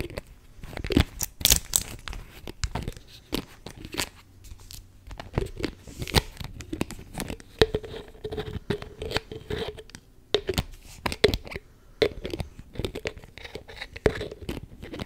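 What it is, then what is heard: Plastic spray bottle cap. A beige plastic spray bottle's clear cap is pulled off and pushed back on with long nails, mixed with tapping on the cap. The result is a steady stream of sharp, crisp plastic clicks and scratchy crunching snaps, with a faint low hum underneath and a soft tonal ring near 440 Hz in the middle stretch.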